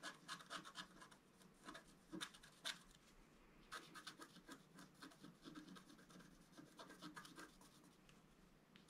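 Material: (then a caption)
Coated paper. A wooden stylus scratches and rubs the black coating near the bottom edge of a flat, roughly A4 scratch-art card lying on a table. Irregular bursts of dry, bright scraping come in quick strokes with short pauses, with no ring after each stroke.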